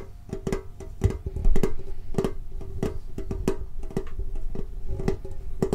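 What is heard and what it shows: A rectangular hollow metal Pokemon trading card tin with a lid is held low and tapped on the lid with fingertips. The taps come fast and unevenly, each a short, dull, hollow knock with a faint ring that dies away almost at once.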